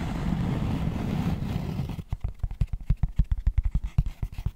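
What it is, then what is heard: Cork tray tapped with fingertips. Fingertips scratch and tap the inner cork surface of a long, hollow, empty cork tray held upright. A dense, low scratching rumble for about two seconds gives way to about twenty quick, dull, hollow taps at an uneven pace. The taps are bass-heavy and die away almost instantly.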